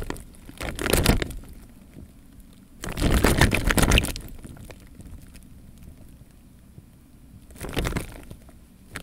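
A clear plastic bag half full of water hangs from the fingers and is gently shaken so the water surface sloshes inside. Three bursts of crinkly plastic rustle and watery sloshing with a low rumble rise around one, three to four, and eight seconds, separated by quiet, soft handling noise.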